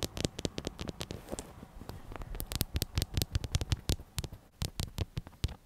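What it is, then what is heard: Fabric throw pillow. A stuffed, medium-size black soft fabric "BOO" throw pillow is scratched with long acrylic nails. The result is a rapid, uneven run of dry scratchy taps and rasps, each with a soft low thud under a brief bright edge and almost no ring.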